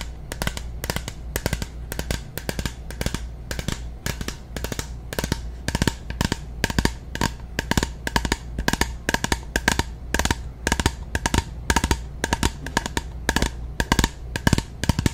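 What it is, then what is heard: Plastic bottle of nail polish remover. Long natural nails tap rapidly and steadily on a medium translucent plastic bottle of Onyx soak-off nail polish remover, which looks full of liquid and is held close to the mic. Each tap is a short, dry, hollow click with a bassy thump and a bright tick, repeating over a constant low rumble.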